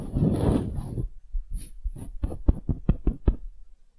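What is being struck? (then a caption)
Small wooden hemisphere. Long nails scratch across a small solid wooden hemisphere for about a second, giving a soft, dense rasp. This is followed by a run of quick, dull, low taps on the wood that are short and dry with almost no ring.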